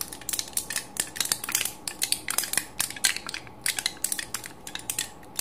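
An empty aluminium foil pill blister strip with crumpled cavities is squeezed and crushed between a thumb and fingertips, its foil pockets giving off a rapid run of sharp, bright crinkles and crackles. The snaps are dense and short with almost no low end, bursting unevenly over a faint steady hiss.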